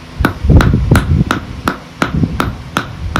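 A 3 lb hammer strikes the deep concrete footing under a barn post nine times in a steady rhythm, each hit a sharp, short tap with a low thud and little ringing. The footing sounds solid compared with the floating floor slab, so it can be reused.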